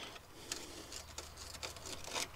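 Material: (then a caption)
Steel. A rusty steel car rocker panel is probed, giving faint, dry crackling over a quiet background, with a sharper, louder crack at the very end. The crackling shows the panel is rusted through and must be cut out.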